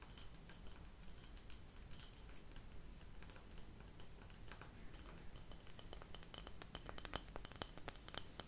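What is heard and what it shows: A flat, round, printed cardboard insert from candle packaging, thin and rigid, is held in both hands and tapped and scratched with long acrylic nails. Soft scratching gives way to increasingly rapid, sharp, bright clicks that die away instantly. A quiet, steady low hum runs underneath throughout.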